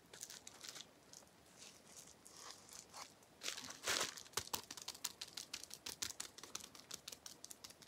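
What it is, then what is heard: Plastic bubble wrap being popped. A small sheet of clear plastic bubble wrap with air-filled bubbles is held in both hands while the fingertips pinch and pop the bubbles. Soft, bright crinkling rustles at first, then a louder crackling burst, followed by a quick, uneven run of sharp, high crinkly pops.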